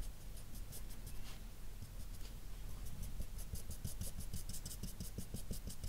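A dark felt-tip marker's nib rubs short shading strokes across a flat sheet of white drawing paper while the other hand rests still. The soft, dry, scratchy rubbing grows into a quicker, steady rhythm of brief bright strokes over a low background hum.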